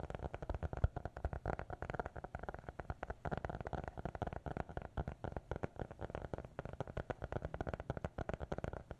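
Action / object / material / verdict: tap / small hardcover notebook / cardboard and paper / none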